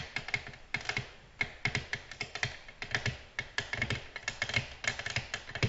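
Long natural nails tap a flat, solid, glossy black glass tabletop in a quick, uneven series of sharp clicks. Each tap is bright and brittle with a faint glassy ring near 1.8 kHz and a soft low thud underneath, and it dies away almost instantly.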